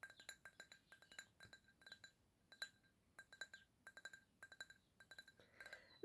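Fingernails tap rapidly on a drinking glass holding apple juice, making many short, bright clinks with a clear ringing tone. The taps come in quick irregular bursts, each dying away almost at once, with a soft rustle near the end.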